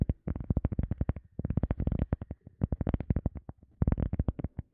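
A round, solid, soft teal EVA foam sponge disc is held behind the mic and tapped and scratched with fingertips. Rapid bursts of soft, dull, low thumps come in quick clusters with short pauses between them, each hit dying almost instantly with very little brightness.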